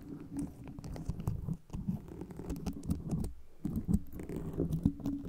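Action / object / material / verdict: scrape / foam microphone cover studded with metal pins / foam, metal / none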